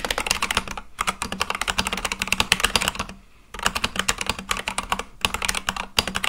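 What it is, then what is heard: Mechanical keyboard with plastic keycaps. Fingertips type rapidly on an Akko full-size mechanical keyboard with white and light-blue plastic keycaps, a black case and RGB underglow, sitting on a desk. Dense runs of sharp, bright clacky keypresses come in bursts, with a brief pause near the one-second mark and a longer near-silent gap around three seconds before the typing resumes.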